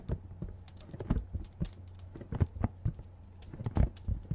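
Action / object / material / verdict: tap / printed cardboard box / cardboard / none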